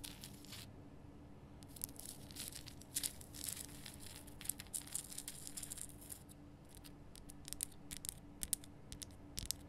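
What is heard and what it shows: Long nails tap and scratch the rough front surface of a large, lit, pink Himalayan rock salt lamp made of solid salt. Quiet, dry, bright scratches and crisp taps come in bursts over a steady low hum.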